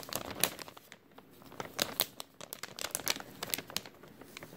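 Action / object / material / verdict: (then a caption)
scrape / thin clear plastic bag / plastic / none. A thin, empty clear plastic bag with a white label is crinkled and squeezed between fingers. The result is a dense run of sharp, bright crackles and rustles over a quiet, nearly bass-free background, with each crinkle dying away almost instantly.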